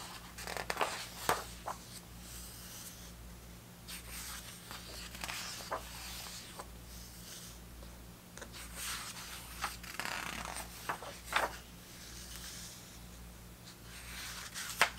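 Fingers rub and flip the heavy paper pages of a thick open hardcover book one at a time, giving soft, bright rustles and crinkles with sharp page snaps between steady low hum. The brief, quiet turns have no ring.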